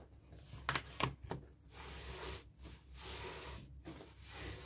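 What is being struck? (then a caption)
Inflated latex balloon with paper tissue. A paper tissue wipes and rubs over the rubber skin of a hollow, inflated, light blue latex balloon held in the hand. A few sharp, crackly squeaks come first, followed by longer, breathy, hissing strokes of rubbing that swell and fade in bright, high noise.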